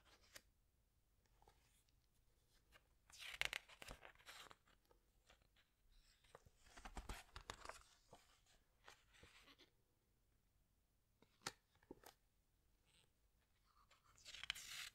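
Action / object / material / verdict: scrape / glossy paper pages of a hardcover book / paper / none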